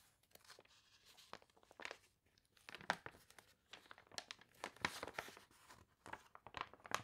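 Long nails and fingertips rub and scratch across the crinkled pages of a warped, glossy paper toy catalog spread. Crisp, bright crinkling and crackling come in quick, irregular bursts with sharp dry snaps, with quiet gaps between the louder scratches.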